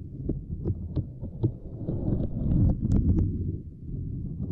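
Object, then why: Small silicone lattice mat. A fingertip and long nails tap and press a small, flat purple silicone lattice mat. The result is a run of soft, muffled low thumps over a steady low rumble, with occasional short, bright clicky ticks from the nails.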